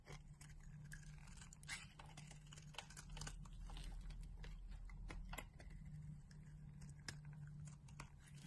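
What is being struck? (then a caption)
Bar of soap cut with a knife blade. A utility knife blade shaves thin, crumbly layers off a solid orange bar of soap held in the palm of a hand with dark long nails. Quick, irregular, crisp scraping and crunching strokes repeat over a steady low hum throughout.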